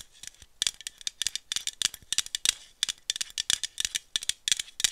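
A small aluminum iced-coffee bottle, held in one hand, is tapped with long nails along its body and cap. The result is a quick, bright, rattling clatter of short clicks with almost no ring and no low end.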